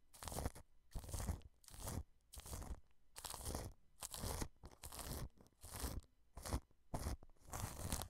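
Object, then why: Plastic cling film wrapped over a microphone, brushed. A wide paintbrush repeatedly sweeps across clear cling film wrapped over a white dome microphone. Each stroke gives a burst of crinkling and crackling with a heavy low rumble beneath, separated by short quiet gaps at an uneven pace.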